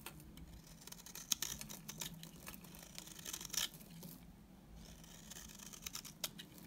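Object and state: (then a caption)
Dry bar soap being shaved. A solid, dry beige bar of soap held in the hand is shaved into curls with a utility knife blade. The strokes give crisp, bright, crackling scrapes with a few sharper snaps, over a faint steady low hum.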